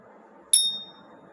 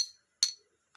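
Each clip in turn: First: real jade. Second: treated (fake) jadeite.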